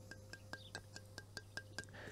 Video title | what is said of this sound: Roman cooking - Using a BB2 cooking jar | you can hear a very dull sound so that says that that one's cracked